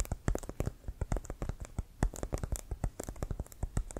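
A full-size, inflated, hollow brown pebbled composite leather American football with a white stripe is held in the hands and tapped and scratched with fingertips and nails. About 25 quick, hollow taps come in an uneven run, each a short, deep thump with a faint bright click of nail on the pebbled surface. Light scratching fills the gaps, and each tap dies away almost at once.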